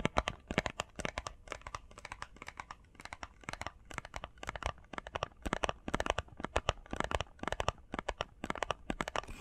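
Long painted fingernails tap rapidly on a small, hollow, printed cardboard face mask box with Sonic artwork. The result is a dense stream of quick, dry, papery clicks with a slight crinkle. Each tap stops almost instantly, with bright edges over a soft low thump.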